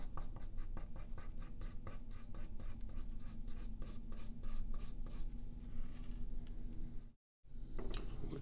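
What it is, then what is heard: Pencil drawing on paper. A yellow wooden graphite pencil draws lines on a single thin sheet of printer paper lying flat on a wooden table, held down by the left hand. Quick, rhythmic scratching strokes run through the first half, then turn into longer continuous scratching. A brief moment of silence follows before the drawing resumes.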